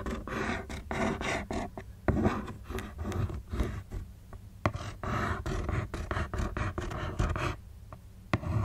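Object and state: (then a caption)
Cardboard shoe box. Long acrylic nails scratch and tap the lid of a closed, hollow, shoe-box-sized black printed Converse cardboard shoe box with a taped corner, resting on a knit blanket. Dense, low-heavy rasping scrapes are broken up by sharp, brief taps that die away quickly.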